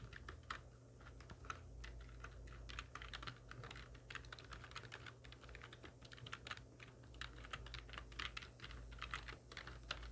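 Long nails and fingertips of both hands type rapidly on a full-size black plastic computer keyboard with hollow keys resting on a wooden desk. Quick, bright, hollow clacks tumble over one another in an uneven stream, each dying away almost at once over a steady low hum.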